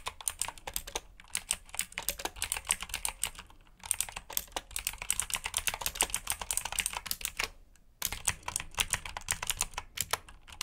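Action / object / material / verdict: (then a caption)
tap / plastic mechanical keyboard / plastic / none. Fingertips type rapidly on a black plastic mechanical keyboard with blue switches and plastic keycaps, producing a dense stream of sharp, bright clicks. The typing runs in bursts, with brief pauses near 3.8 seconds and just before 8 seconds.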